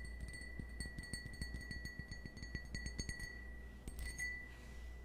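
A small, hollow, empty cut-crystal stemmed wine glass, held in the hand, is tapped with the fingernails in a quick, irregular run of light clicks. Each tap brings out a bright, high, bell-like ring and a sustained tone, over a low, steady hum. A final pair of taps lets the glass ring on briefly before fading.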